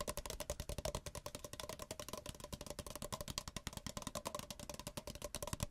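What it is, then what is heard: Paper cup. Two small, identical, empty white paper cups, held one in each hand with the open ends facing outward, are tapped quickly with fingertips and nails. The result is a steady, rapid run of dozens of short, dry, hollow taps. Each tap pairs a low thump with a bright click and dies away almost at once.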